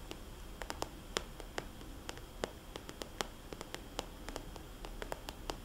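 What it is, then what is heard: Plastic cosmetics bag tapped with fingernails. Fingernails tap and scratch on the shiny surface of a small red polka-dot glossy plastic cosmetics bag, a hollow soft pouch held in both hands. Quick, dry clicking taps with bright, sharp edges fall at an uneven pace over a quiet, low scratchy rustle. Each tap stops almost at once, with no ring.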